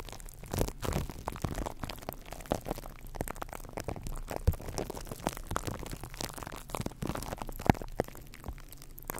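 Fingertips and nails of both hands tap and scratch directly on the hollow silver metal wire-mesh grille of a condenser microphone. The result is an irregular, dense stream of short, dry crackling taps and scratchy rustles with a heavy low-end thump, and a few sharper, louder taps stand out near the middle and toward the end.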